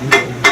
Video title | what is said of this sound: 20160611AGACLCOUVREURS | c'est pas bonne on entend un bruit sourd